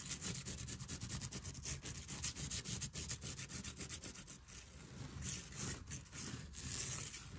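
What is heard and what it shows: An open hand and fingertips rub and scratch across a cream quilted cotton tapestry with black stripes and dense stitching, hanging on a wall. A steady run of soft, rapid scratchy strokes is heard, with hiss-like brightness on top and a faint low rumble underneath.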